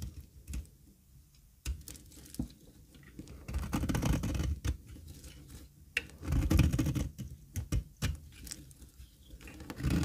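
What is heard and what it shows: A metal blade shaves the edge of a solid, square, dry cream olive oil soap bar held in the palm. Irregular crisp scraping and crunching cuts come in quick bursts, with sharp short clicks over a dull, low-heavy rasp. The shavings flake off with a dry, crumbly texture.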